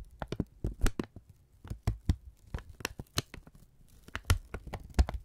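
A thin brown kraft paper strip is held in both hands and squeezed and folded with the fingertips. It makes a quick run of separate crinkling, tearing-like crackles, each a short, sharp snap that reaches up bright with almost no ring. A low, muffled body sits underneath the crackles.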